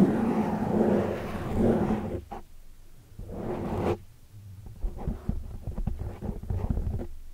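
Fingertips and long dark nails tap and scratch the sides of a large oval black foam windscreen made of soft porous foam on a microphone. Dense, muffled low scratching and rustling fills the first two seconds, then a brief swish gives way to a quieter stretch. A series of soft, irregular thuds and taps follows.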